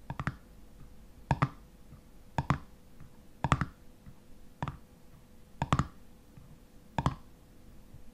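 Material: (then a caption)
Metal. Fingernails of one hand tap and scratch the ridged black metal screw lid on a full glass honey jar. Sharp, dry clicks come in seven short bursts of two or three taps, with a faint scratching rasp and a steady low hum between them. Each tap dies away almost at once, leaving a quiet, low, slightly hollow knock.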